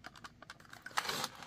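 A heavy steel fixed-blade knife, a Work Tuff Gear Mt. Lion weighing 23 ounces with its sheath, is shaken in its Kydex pancake sheath while the sheath's pins are held still. Small, light, bright clicking ticks give way to a louder, denser rustling burst near the end. There is no rattle and no wiggle, maybe a tiny bit, showing great retention.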